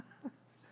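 A knock on a real wooden surface, a desk or table, makes a quiet, dull thud. The sound is short and low-pitched, with no ring and almost no high frequencies, and it dies away right after.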